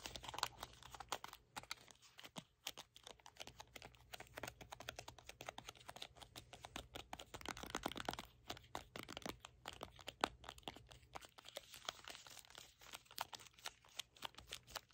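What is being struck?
Small cardboard box.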